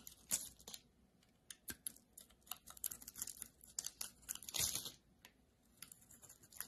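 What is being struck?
Solid soap bar cut with a metal blade.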